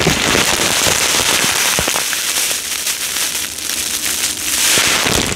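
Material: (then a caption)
Polystyrene foam. Fingertips and short nails press and rub a full, clear plastic bag of yellow polystyrene foam beads laid flat, making the beads crackle. A dense, continuous, bright crackle and rustle fills the clip, with a few sharper snaps and a slight dip in level midway before it swells again.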